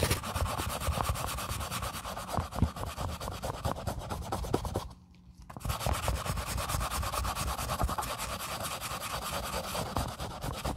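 A plastic toothbrush held in a gloved hand scrubs the upper and sole edge of a white leather sneaker. Steady, rapid bristle strokes make a dense, gritty rubbing sound with low thumping weight. The scrubbing stops briefly for about half a second near the middle, then resumes just as before.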